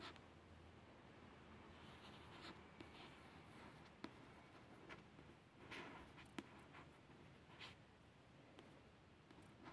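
A long fingernail traces the cottage picture on the glossy card cover of a solid paperback book, making a soft, continuous scratching hiss. Several brief, brighter ticks break through the quiet tracing.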